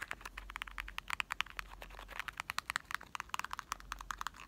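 A small, hollow, printed cardboard box of Marble chocolates, likely holding candy, is held in the hand and tapped rapidly with short fingertips and nails. About 34 quick, dry, crisp taps come in an uneven flurry, each bright and clicky with almost no ring, over a faint low hum.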